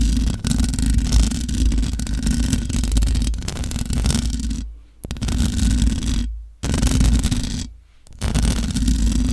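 Long nails scratch the hollow metal mesh grille of a large black microphone, producing a dense, continuous rasping scrape over a heavy low rumble. The scratching stops briefly three times near the end, dropping almost to silence before resuming at full strength.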